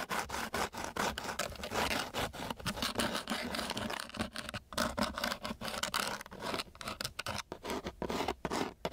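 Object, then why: Sheet of coarse sandpaper scraped with a wooden stick. A flat wooden popsicle stick is scratched and scraped back and forth across a flat sheet of coarse, gritty sandpaper lying on a table. It makes a rapid run of harsh, grainy rasping strokes, each a burst of broadband hiss with short quiet gaps between. The texture is dry, steady and bright throughout.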